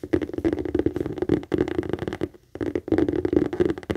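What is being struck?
Leather handbag.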